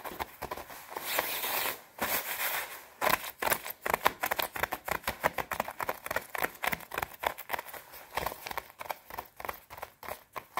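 Long red nails scratch fast and tap across the shoulder and chest of a white quilted nylon down puffer jacket. A steady run of crisp, papery scrapes and brushing swishes follows, bright and rustling with almost no low end. Sharper ticks from the taps punctuate the scratching.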